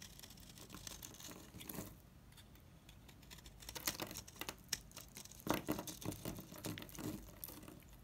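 A utility knife blade shaves a dry, solid, mint-green oval Savoy bar soap into powdery chips. Quiet, dry scraping strokes come in uneven bursts, with sharp crisp clicks and a bright, gritty crackle as the chips break off.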